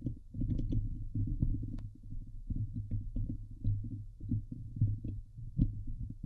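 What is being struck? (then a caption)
Metal mesh microphone grille. Long nails scratch the hollow metal mesh grille of a Blue Yeti microphone, producing a dense, low, thumping rumble with a steady hum around 109 Hz. Brief brighter scrapes and ticks flash over the muffled, continuous scratching.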